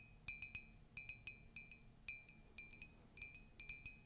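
Fingers or nails tap on a ceramic Disney mug, giving about nineteen light, bright clinks in irregular bursts. Each tap rings briefly at around 2.4 kHz with high overtones and fades quickly over a soft, quiet background hiss.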